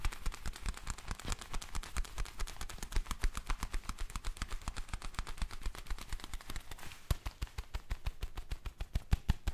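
Black leather gloves are worn on both hands as the gloved hands rub together and the fingers stretch, making the leather creak. A fast, steady stream of dry, crackling creaks and clicks runs throughout, heavy in low-end thump with sharp, bright ticks on top.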